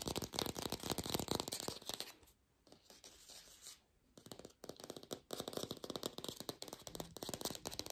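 A fake green apple made of plastic is tapped quickly with no microphone, giving a dense run of short, dry, clicky taps with a bright, hissy edge. The taps thin out into a quieter, softly rustling stretch in the middle before the fast tapping picks up again.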